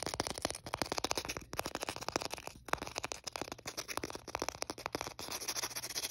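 Fingernails scratch and scrape along the gritty surface of a thin, solid white emery board nail file with coloured dots and "color" printed on it, held in the fingers. A rapid run of short, bright, dry scratching clicks fills the clip, with little low end and almost no ring after each stroke.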